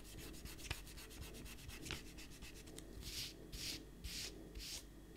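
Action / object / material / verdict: scrape / paper sheets rubbed with an eraser / paper / none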